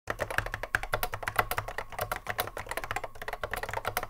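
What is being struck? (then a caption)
Plastic mechanical keyboard. Fingertips of both hands touch-type continuously on a cream Apple M0110A keyboard, a hollow plastic case with Alps SKCC mechanical switches, sitting on a wooden desk. A rapid, steady stream of short, sharp clacks with a hollow plastic ring and a low thump under each keystroke fills the clip, with no pauses and little decay between strikes.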